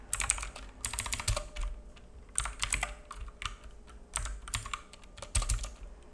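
A black full-size mechanical keyboard with plastic keycaps and a hollow case, resting on a wooden desk, is typed on with the fingertips of both hands. Bursts of rapid, bright clicky key taps alternate with short pauses, each tap short and dry over a faint low rumble.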